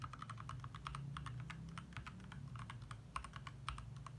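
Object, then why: Plastic mechanical keyboard. Fast typing on a compact 60% backlit mechanical keyboard with lit plastic keycaps, both hands tapping the keys with their fingertips. A rapid, uneven stream of short, crisp clicks centered around 1 kHz with bright tops, each dying away almost instantly, sits over a steady low hum.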